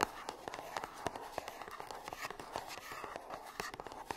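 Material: Cardboard.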